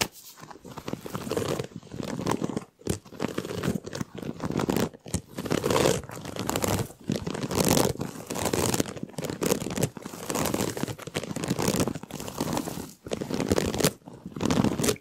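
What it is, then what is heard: Flexible plastic duct tube. Fingers scratch and flex the ribs of a large, hollow, ribbed white flexible plastic duct tube bent into an arch. The result is a continuous run of crinkly, scratchy bursts with brief pauses between them. The sound is dry and close, with a full low-mid body and a thin bright hiss on top.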